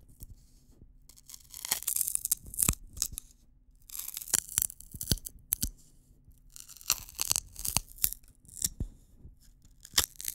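A single long, thin, hollow, dry wheat-straw drinking straw is held across both hands close to the mic while fingertips rub and pinch along the stalk. The result is bright, crackling tearing sounds in three bursts of rapid sharp snaps, separated by quieter pauses.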